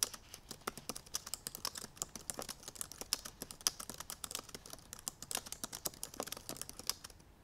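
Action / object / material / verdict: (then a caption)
tap / laptop keyboard with plastic keys / plastic / none. Long purple nails tap rapidly across the black plastic keys of a silver aluminum MacBook Pro laptop keyboard. The result is a fast, uneven stream of short, dry, bright clicks with almost no ring or low-end weight.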